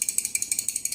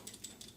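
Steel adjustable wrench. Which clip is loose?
The first.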